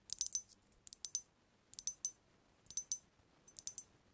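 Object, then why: Glass cognac bottle with liquid. Long nails tap the glass body of a brown glass cognac bottle held tilted, with amber liquid visible inside. Quick, bright, glassy clicks come in five short clusters with quiet pauses between them. Each tap dies away almost at once, with no low-end weight.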